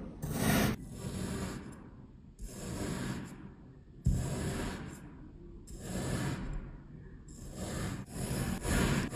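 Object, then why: Kinetic sand discs cut with a metal knife. A patterned, coated metal kitchen knife presses and slices in a grid through two flat, round, solid pressed discs of yellow kinetic sand resting on a white surface. Each stroke makes a soft, gritty, low crunching scrape, and the strokes repeat in separate bursts with brief quieter gaps between them.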